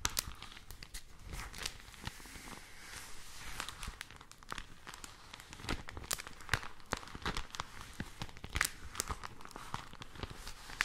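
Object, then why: Folded newsprint supplement. A thin, folded pink printed newsprint supplement is held in both hands and crinkled, bent and rubbed with fingertips and long nails close to the mics. Dense, crackling paper crinkles and sharp snaps come one after another, with bright high-end clicks over a soft low rustle.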